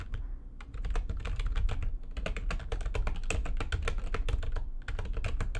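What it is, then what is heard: Plastic computer keyboard being typed on. Fingertips with long nails type fast on the keys of a full-size, low-profile, backlit plastic computer keyboard resting on a desk. A dense stream of quick, sharp clicks with bright edges rides over a steady low rumble, with only brief pauses between bursts of keystrokes.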